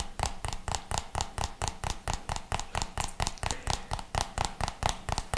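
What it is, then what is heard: Plastic jar, hollow. A hollow white plastic jar with a red label is tapped with the fingertips, giving about 23 quick, dull, hollow taps in a loose, uneven rhythm. Each tap has a soft low thump and a brief knock near 850 Hz that dies away almost at once.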